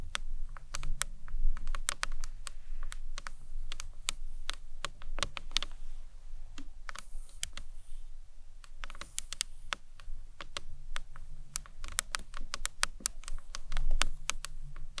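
A rectangular, hollow, hard green marbled acrylic box clutch stands upright while long nails tap on its front face. The result is a steady stream of quick, dry, bright clicks in uneven rhythm, much like fast typing, over a low background rumble.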